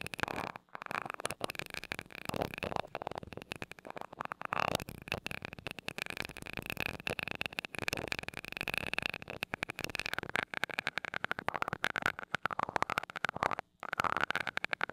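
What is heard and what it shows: A glass rod taps rapidly on the small gold metal mesh grille of a mini microphone. The result is a dense run of quick, dry ticks over a steady, bright, hissy tone.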